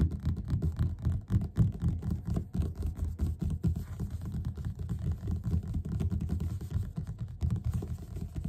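Both hands' fingertips tap fast on the cover of a yellow paperback book lying flat and solid. The result is a steady, slightly uneven patter of soft, dull, low thuds that die away almost at once, with no bright edge.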